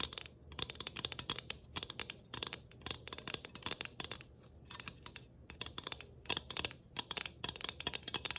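A flat, round galvanized tin Christmas ornament, about 12 cm across, made of thin hollow sheet with tree cut-outs, a studded rim and a ribbon bow, is scratched and tapped on both faces with long acrylic nails. Quick bursts of bright, dry clicks and scratchy metallic ticks come in rapid clusters with short pauses between them. Each click dies away almost at once.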